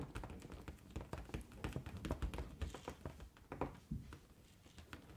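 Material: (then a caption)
Latex rubber. Long gold-painted nails tap and scratch the surface of a large inflated pink latex balloon, which is hollow and air-filled. Quick, soft, dull taps and short scrapes come in an uneven stream, with low hollow thumps and little ring.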